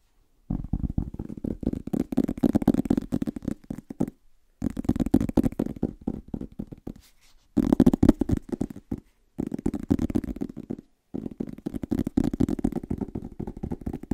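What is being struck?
Paperback book cardboard cover.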